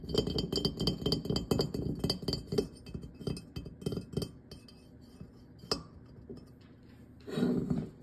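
Fingertips and nails tap the ribbed glazed surface of a medium-sized hollow ceramic jack-o'-lantern pumpkin, orange with a white top and a dark stem, with carved face openings and a light inside. Quick, irregular taps give bright, glassy clinks over a low hollow body with a note around 410 Hz, and each dies away almost at once. The tapping is dense for the first few seconds, thins to a few scattered clicks, then ends with a brief, softer rubbing burst.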